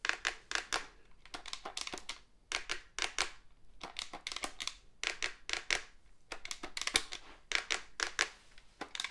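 Fingernails scratch and tap the back and sides of a hollow black plastic cordless phone handset with an antenna. Quiet, bright, crisp clicks and scratchy bursts come in irregular clusters with short pauses between them. Each hit is dry with almost no ring and very little low end.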